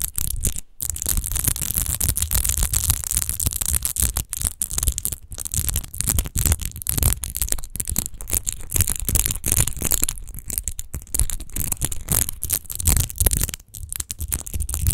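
Long nails quickly scratch and tap the rose-textured base of a large, hollow, clear glass rose-shaped wine bottle that appears empty. The result is a dense, continuous rasping texture of rapid scrapes and clicks with a deep low rumble beneath and a bright hiss on top, with only brief pauses.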